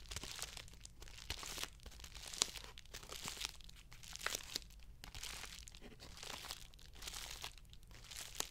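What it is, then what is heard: Padded plastic mailer envelope. A closed, medium white plastic padded poly mailer envelope with its contents inside is held up in both hands and squeezed and crinkled with fingertips and painted nails. The result is a quiet, steady run of bright, papery crinkles and crunches in overlapping bursts, with a few sharper snaps.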